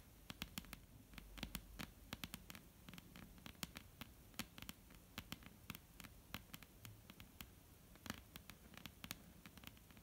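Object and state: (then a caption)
Wooden tabletop. Long almond-shaped painted nails tap and scratch a flat, solid dark-brown wooden tabletop, producing a steady run of quick, sharp clicks that decay almost instantly. The clicks sit over a soft, low scratching rustle and a faint hum. The overall level stays quiet.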